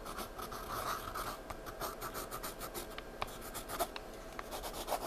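A wooden graphite pencil scratches and shades a paper sketchbook page, giving a steady dry, raspy scraping with short bright ticks scattered through it. The strokes blur into a continuous texture with no clear separate hits.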